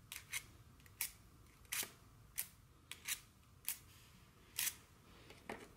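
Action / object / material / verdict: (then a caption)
tap / wooden tabletop tapped with long fingernails / wood / none. Very long, curved fingernails on both hands tap the surface of a solid, dark wooden tabletop. About a dozen sharp, bright clicks come at an uneven pace and decay quickly. Between them there is only a faint, low background hiss.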